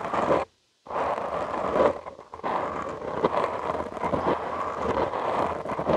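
Short nails and fingertips scratch a soft, porous black foam windscreen on a studio microphone, making a close, dense, rustling scratch with a strong midrange body and a bright, hissy top. The scratching cuts out briefly near the start, then returns as a continuous, uneven stream with occasional louder strokes.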